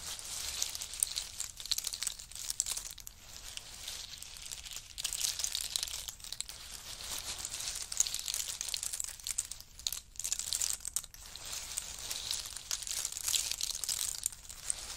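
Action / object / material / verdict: drop / in-shell pistachio nuts / nut shell / none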